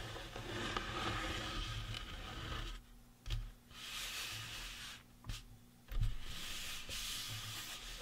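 Fingertips rub and scratch the sides of a life-size painted resin or plastic Halloween prop skull, making a steady, hissy scraping sound. The scraping drops out twice into near-quiet gaps, broken by three short, soft knocks before the rubbing resumes.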